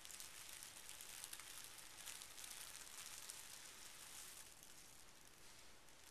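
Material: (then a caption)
Paper. Pink tissue paper resting on carpet is smoothed and folded over with the fingertips of both hands. It makes a steady, bright crinkling rub with a dense, hissy texture and little low end. The sound softens slightly toward the end.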